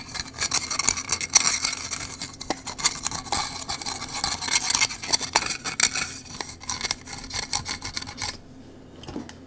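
Fingertips rub and rotate the ridged parts of a small blue 3D-printed plastic cylinder puzzle held close to the microphone. The result is a dense, bright, scratchy rasping full of quick ticks and clicks that rise and fall in bursts. Near the end it stops, leaving only a faint low hum with a couple of soft ticks.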